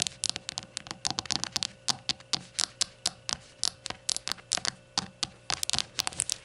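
Long nails tap and scratch the glossy sides and base edge of a small, hollow, rainbow-glazed ceramic shot glass lying on a towel. About 34 sharp, bright clicks come in quick irregular bursts, each dying away almost instantly. Faint scratchy rasps sit between them.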